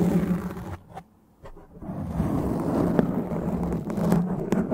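Long dark-painted nails and the fingertips of both hands cup and scratch a black foam windscreen on a microphone. The result is a dense, close, low rumbling scratch with a muffled rustle, which drops to near silence for a moment before resuming steadily with a few sharper scrapes.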